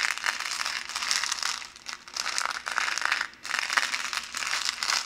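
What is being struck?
Thin plastic bottle.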